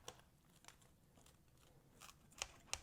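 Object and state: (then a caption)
Crispy baked pizza crust. A pizza cutter rolls through a homemade baked pizza crust, making several short, bright crunching crackles over quiet, faint crinkling. The sharp snaps show the crust is crispy.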